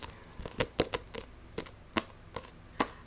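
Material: Paper.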